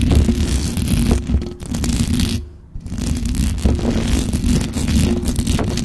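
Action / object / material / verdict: scrape / metal mesh microphone grille / metal / none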